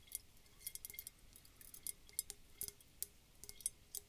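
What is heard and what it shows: A round, clear glass bulb bottle, partly filled with water and glitter and held in the hands, is tapped with long dark fingernails. Quiet, bright, clicking clinks come in an irregular series of quick taps, each dying away almost instantly.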